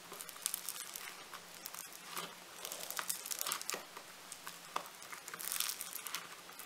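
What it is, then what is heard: Foam-bead clay (floam). A soft, solid lump of blue foam-bead clay is pinched and pressed between thumbs and fingertips. It gives off dense, bright crackling and crinkling, like fine sizzling pops, in quick irregular bursts over a faint steady low hum.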